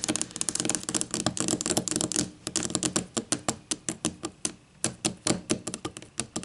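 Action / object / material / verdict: tap / wooden ruler tapped with fingernails / wood / none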